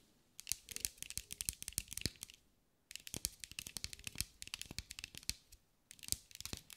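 Long acrylic nails tap and scratch a green mirror-glass mosaic sphere held in the hands. Three bursts of rapid, bright, crisp clicks and scrapes, each dying away instantly, are separated by short quiet pauses.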